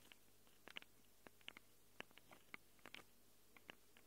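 Long acrylic nails scratch and tap on the metal mic capsules of a small black handheld Tascam recorder. Quiet, sharp, bright clicks and ticks come at irregular intervals over a low steady hum, each dying away almost instantly.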